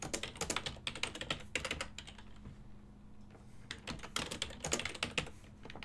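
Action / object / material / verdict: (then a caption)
tap / plastic computer keyboard / plastic / none. Fingertips type continuously on a full-size ergonomic silver and black plastic desktop keyboard with hollow key switches. The sound is a quick run of bright, short plastic clicks and clacks, broken by a brief lull in the middle, over a faint steady low hum.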